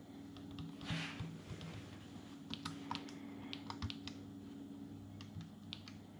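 Fingertips type on the plastic keys of a small grey Atari Portfolio palmtop computer resting on a wooden table, producing rapid, sharp, bright key clicks. A steady low hum runs underneath the quiet, irregular typing throughout.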